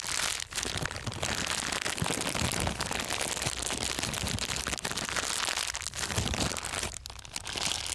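A thin, empty, transparent plastic bag is crumpled and squeezed between both hands with the fingertips. This makes a steady, dense crinkling and crackling that is bright and hissy. The sound dips briefly only a few times during the clip.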